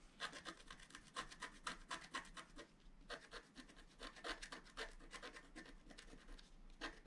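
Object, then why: Wax-coated scratch-art paper scratched with a wooden stylus. A wooden stylus scratches fine lines around the flowers in the centre of a flat, black-coated scratch-art sheet, about A4 in size, lying solid on a table. Quiet, dry, bright scratching strokes come in short, uneven bursts, with a brief pause near the three-second mark before the strokes resume.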